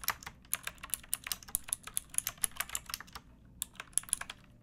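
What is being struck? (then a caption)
Plastic mechanical keyboard. Fingertips with long painted nails type on a pink backlit plastic mechanical keyboard with round typewriter-style keycaps and a hollow case. Around 27 sharp, bright, clacky keystrokes come in an uneven rhythm, with a brief pause just past the three-second mark. Each click dies away almost instantly over a faint low background.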